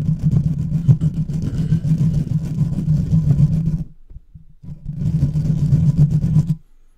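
A large silver microphone's hollow, uncovered metal mesh grille is scratched quickly with the fingertips and nails of both hands. This gives a dense, rumbling scratch concentrated low around 160 Hz. It runs in two bursts separated by a brief near-silent pause.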